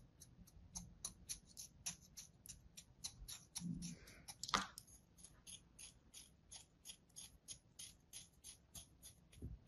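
A thin metal blade slices and scores a solid slab of kinetic sand resting on a palm, making about 29 quick, evenly spaced crisp scraping ticks with bright, dry tops. A longer, louder crunching swipe lands midway through, then the steady rhythmic cutting resumes over a faint low rumble.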